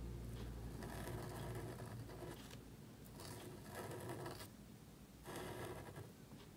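A calligraphy marker nib strokes and scratches across a small, thin black cardstock card resting on a table while writing. Soft, papery scratching comes in bursts of strokes, with brief pauses between them, over a low steady hum.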